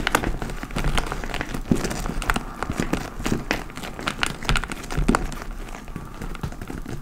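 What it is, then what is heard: Leather tote bag scratched and tapped. Long nails scratch and tap the side and top panels of a large, hollow, dark-brown leather (likely faux) tote bag. The result is a steady stream of dry, crinkly scratching and crackling, broken by soft, quick taps that die away almost at once, with most of the weight low and dull rather than bright.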